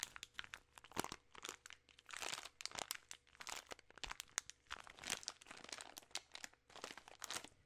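A full bag of peanut M&M's made of plastic film is crinkled in hands with long nails. Dense, bright crackling and crunching comes in quick bursts with short pauses, each crackle dying away almost instantly. The sound is quiet overall, mostly high and with almost no low end.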